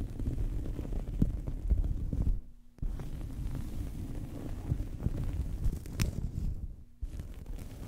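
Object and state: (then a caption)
Cloth towel scratched over a microphone. A small fabric towel draped over a microphone is scratched with fingernails and rubbed with fingertips, giving a dense, muffled, low rumbling scratch with almost no bright content. The scratching briefly stops twice, leaving a faint low hum before it resumes.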